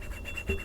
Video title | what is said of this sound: ASMR * Theme: Star Wars * Soft Spoken * Tapping & Scratching * Fast Tapping * ASMRVilla | kind of smooth right here, you hear how different